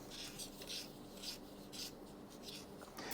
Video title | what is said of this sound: Making Inverse VZ Rear Roller Stays Legal | it's scraping against the bottom roller